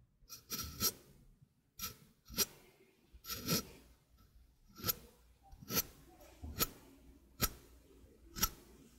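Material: Stainless steel.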